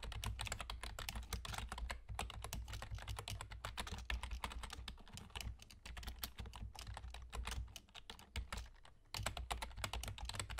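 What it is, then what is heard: Plastic computer keyboard being typed on. Fingertips with short nails on both hands type rapidly on a full-size black plastic computer keyboard with German key labels and hollow keys. Dense, crisp, bright clicks and taps run over a steady low hum, briefly thinning out just before the 9-second mark before resuming at full pace.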